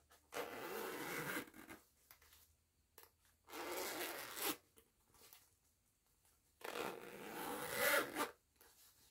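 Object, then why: Nylon zipper on a small fabric pouch. Fingers with long nails slide the pull of a purple nylon zipper on a small, soft, printed fabric cosmetic pouch. Three raspy, bright zipping passes sound in turn, each lasting about a second, with quiet gaps and faint handling ticks between them.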